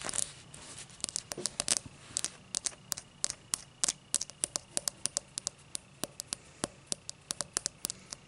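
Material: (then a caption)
Crystal glass. Long matte dark nails scratch and tap the thick cut base of an empty, hollow, clear cut-crystal tall glass. The result is a quick, irregular series of sharp, bright, dry clicks and scrapes over a faint hiss, with almost no low end and no ringing after each touch.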